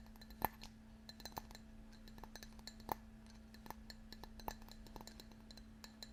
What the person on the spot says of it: it has lots of little dots around the outside